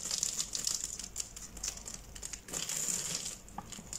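A hand-sized solid green soap bar with a glitter crust and a grid of pre-cut lines, held in one palm, is pressed and crumbled with the fingertips while a blade is partly visible. The result is dense, bright crackling and crunching with rapid short snaps that rise and fade in bursts as crumbled bits fall off.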